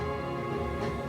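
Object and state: Nothing is struck.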